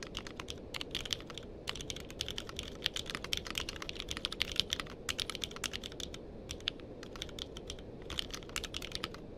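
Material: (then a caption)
Plastic. Fingertips type steadily on a compact mechanical keyboard with a purple case and plastic keycaps, with a microphone nearby that is not touched. Rapid, bright, sharp clicks centered around 3 kHz rise over a soft low rumble. Each keystroke dies away almost instantly.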